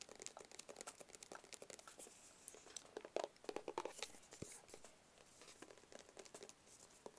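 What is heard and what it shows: A small, hollow, rigid black cardboard Tommy Hilfiger gift box is tapped and scratched up close with fingertips and nails. Quiet, dry, rapid taps with a hollow mid-range knock mix with crinkly scratching that carries into bright highs. The sound has little low end and no ring.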